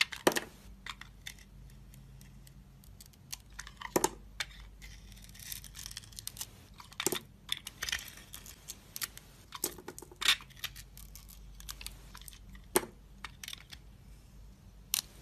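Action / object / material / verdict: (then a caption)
scrape / bar of soap / soap / none. A solid soap bar with a red glittery outer layer and a white core, held in the hand, is peeled and shaved into thin slices with a metal box-cutter blade. Dry, bright scraping and crisp flaking strokes come in quick, short bursts with almost no ring, and a few louder, sharper cuts stand out over a faint steady low hum.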